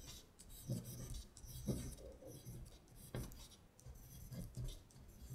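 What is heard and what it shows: A long pointed nail traces and scratches along the lines of text on a thin, flat-lying paper sheet printed with lyrics. The result is a soft, dry scratching and rasping with faint bright hiss on top and low thumps where the nail presses down. Several louder strokes stand out across the quiet clip.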